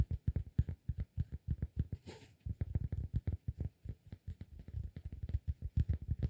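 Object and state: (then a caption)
Cork disk. Fingertips tap and scratch the face of a round, flat, solid cork disk about 15 cm across, held in both hands. About forty quick, uneven, dull low thuds with almost no ring follow one another, broken near the two-second mark by a brief, brighter scratching rustle.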